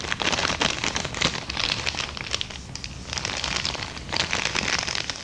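A small, empty, flattened kraft paper bag is tapped and scratched with long dark-painted nails and crinkled in the hands. The result is a dense run of crisp, bright crackles and papery taps that briefly softens midway before picking up again.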